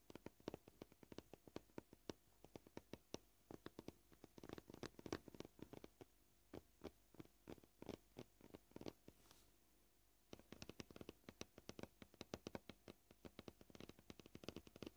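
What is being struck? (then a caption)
Plastic cutting board. Short polished fingernails tap on a solid, flat white plastic cutting board, making dozens of quiet, dry clicks with a mid-low knock around 350 Hz and a bright edge. The taps come at an uneven, shifting pace, with a brief pause near the ten-second mark before the tapping resumes, and each one dies away almost instantly.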